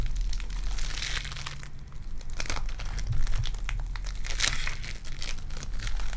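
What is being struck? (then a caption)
Foam bead clay. Purple foam-bead clay is flattened on the fingers and stretched between both hands with long dark nails. It makes a dense, continuous crinkling and crackling with bright popping bursts, over a steady low hum.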